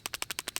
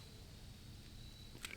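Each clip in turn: First: loose pistol slide rattling on frame. Second: tight pistol slide, no rattle.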